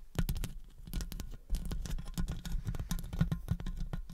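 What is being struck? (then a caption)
Metal wire-mesh microphone grille. Long acrylic nails tap rapidly on and scratch around the hollow metal wire-mesh grille of a studio condenser microphone. The result is a dense, continuous patter of short, dull thuds with a boomy low-end, dotted with faint bright clicks and scratchy rasps. Each tap dies away almost at once.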